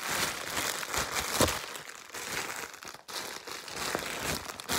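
A large, thin sheet of clear plastic bubble wrap is gathered into a bundle and twisted and crumpled between both hands and fingers, popping and crinkling its air bubbles. A steady, bright crinkling texture is punctuated by sharp pops, with one louder pop standing out near the middle and a brief quiet dip shortly after.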